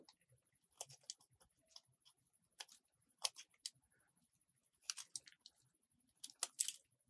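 A metal box-cutter blade carves scraping cuts into a small solid white bar of soap. The result is a series of quiet, crisp, bright scrapes and clicks in short irregular bursts, each dying away almost instantly, over a faint steady high-pitched tone.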